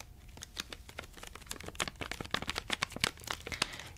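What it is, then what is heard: Plastic candy wrapper crinkled. Fingertips crinkle and rub a small, full plastic Reese's peanut butter cups pack held in both hands. Dense, bright crackles and sharp crinkly snaps come in quick, irregular bursts, growing busier toward the end over a quiet low background.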